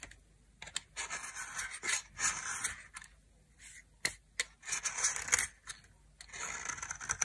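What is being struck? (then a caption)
Soap bar scraped with a metal knife. A metal knife scrapes powdery flakes off the face of a solid white and pink dry soap bar. Bright, dry scraping strokes come in irregular bursts with short sharp clicks between them, mostly high-pitched with almost no low end.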